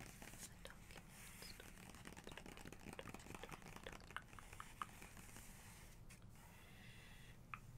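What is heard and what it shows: Long nails and fingertips tap and trace across a glossy printed portrait page of a large open hardcover photography book, with the same page staying open throughout. Quiet, dry, crinkly ticks and soft scratchy strokes come in a steady scatter over a low background rumble, each sound dying away instantly.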